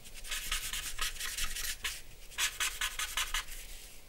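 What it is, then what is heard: Charcoal pencil shading on drawing paper. A dark charcoal pencil held in the hand scratches and rubs across a large white drawing paper sheet on a black board, lying flat on a wooden desk, while shading the lips and chin area of a portrait. A rapid series of short, bright, dry scratching strokes comes in quick back-and-forth bursts, with a brief lighter pause in the middle before the strokes pick up again.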